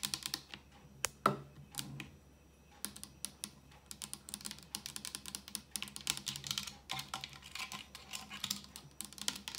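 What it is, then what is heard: Clear plastic blender bottle. A clear hard plastic Blend Active personal blender bottle, about 25 cm long, hollow and empty with a black lid and base, lies on its side on a counter and is tapped and scratched with long acrylic nails. Quick, bright, hollow clicks with very short ring come in irregular bursts, mixed with dry scratching. The tapping grows faster and denser toward the end after a brief quieter lull.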